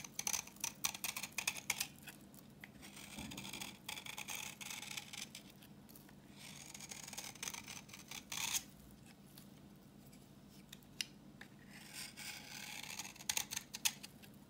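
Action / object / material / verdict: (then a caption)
scrape / bar of soap scraped with a blade / soap / none. A utility knife blade scrapes a solid, translucent orange bar of dry vintage soap held in the hand, shaving off crumbly yellow shavings. Bright, dry scraping strokes and crisp crackles come in quick bursts with pauses between, over a faint steady low hum.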